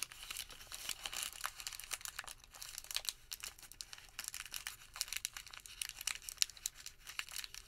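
A white thermal paper receipt is crumpled into a wad and squeezed between the fingertips. It gives a steady, quiet stream of dry, crackly crinkles, bright and high with almost no low end. The short snaps overlap continuously for the whole clip.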